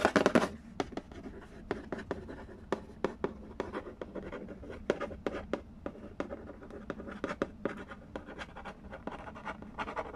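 Fingertips trace and scratch across the glossy lid of a hollow cardboard Candy Land board game box resting on a wooden floor. A loud scratchy burst opens the clip, then a rapid run of short, dry taps and scrapes with a hollow mid-range body and no ring follows over a quiet, soft rubbing bed.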